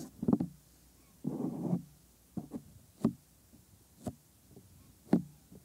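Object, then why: Silicone ear mold of a binaural microphone. Bare thumbs rub the inner ear of a white silicone ear mold on a 3Dio binaural microphone, then fingertips stroke and tap its surface. Close, muffled thumps and a short soft rubbing rustle are heard, followed by spaced, dull low taps with almost no ring.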